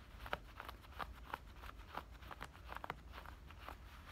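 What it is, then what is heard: Denim shorts waistband. Fingernails scratch the fabric at the waistband and the tops of the pockets on black denim shorts. The result is quiet, dry, papery scrapes that come in short strokes over a low, steady rumble.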